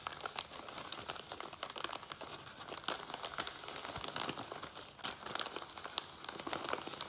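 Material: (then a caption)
Paper. Fingertips and nails tap and scratch the sides and open top of a small, empty brown kraft paper lunch bag held upright on a table. The result is a steady run of quick, dry crinkling and rustling taps with bright, crisp detail and almost no low end.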